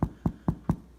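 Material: Bread.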